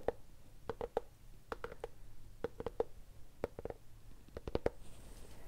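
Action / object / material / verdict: tap / cloth-covered hardcover notebook / cloth, board / none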